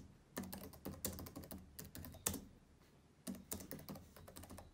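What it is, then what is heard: Plastic laptop keyboard typing. Fingertips of both hands tap and type on the plastic keys of a black laptop keyboard. Quick clacking keystrokes with a low body and bright edges come in bursts separated by short pauses, each click dying away almost immediately.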